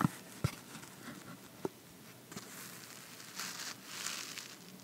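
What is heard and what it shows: An empty red cardboard box lid with a white paper inner surface, held in one hand, is tapped and rubbed on the inside with fingertips and nails. Three short, dry taps with no ring stand out, followed by softer scratchy, papery rubbing.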